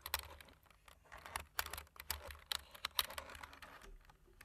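Fingertips type on a black plastic computer keyboard, with a large metal ring on one hand near the keys. A quick, uneven run of sharp, bright key clicks sounds over a faint low hum, each click dying away almost at once.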